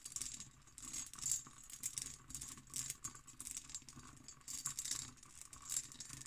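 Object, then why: Cut glass decanter with stopper. Long green nails tap quickly on an empty, hollow hobnail-pattern cut glass decanter with its stopper. The result is bursts of bright, rattling clicks with short, high glassy glints that fade almost at once, leaving little low-end weight.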